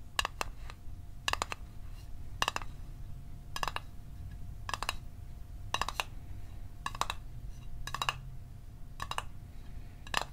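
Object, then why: Small metal mint tin. A small hollow metal Altoids mint tin is held in one hand and tapped fast with the fingertips and short nails of the other hand. Quick clusters of bright, clicky metallic taps with very little ring come in bursts about every second, over a steady low rumble and a faint constant tone.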